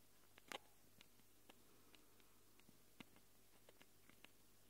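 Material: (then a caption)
Plastic, metal. Long glittery acrylic nails on both hands scratch the two round X/Y microphone capsules, with metal rims, on a small handheld black-plastic Tascam recorder. Quiet, scattered, short dry clicks and scratches sound close and bright, each dying instantly. A faint steady low hum sits underneath throughout.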